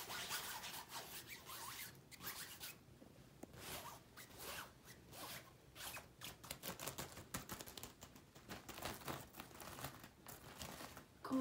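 Fingertips and long nails scratch and rub across a large hanging synthetic satin shower curtain with gold sequin bands, moving over both the smooth fabric and the sequins. The result is a quiet, continuous run of bright, zipper-like rasps and rubbing swishes that swell and fade in short bursts, ending on a louder scrape.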